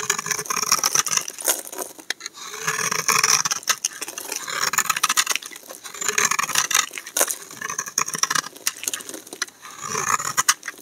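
A solid striped pink and white soap bar is held in the hand and shaved with a utility knife blade, producing bright, dry scraping and crisp crackling in repeated strokes. Toward the end, chunks break off the bar.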